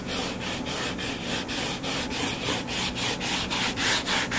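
Fingernails scratch and rub the cover of a solid purple-covered paperback book lying flat. The sound is a quick, steady run of bright, papery scraping strokes, nearly four per second, with little low end.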